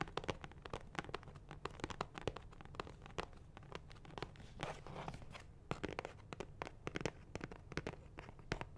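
Fingernails tap rapidly on a medium, hollow, blue Ammex cardboard box of nitrile gloves held in both hands close to the mic. The result is a dense run of quick, dry, clicky taps with almost no ring over a steady low rumble, broken midway by a brief stretch of crinkly scratching.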